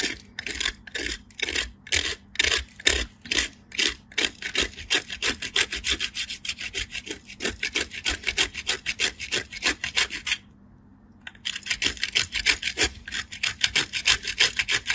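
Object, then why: Bar soap on a steel grater. A solid white bar of soap is rubbed by hand, with blue-painted fingernails, across the holes of a small handheld stainless steel box grater, sending soap shavings falling. Quick, bright rasping scrapes repeat at about three strokes per second, with a brief pause just before the 11-second mark before the grating resumes.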